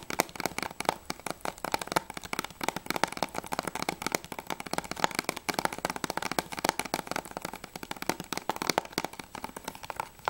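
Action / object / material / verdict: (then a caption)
tap / plastic game case / plastic / none. Long nails tap quickly and continuously on the back cover of a closed, hollow plastic PS3 game case for Journey. The taps are dense, dry, clicky and bright, with a hollow plastic tone and almost no low end, each one dying away almost instantly.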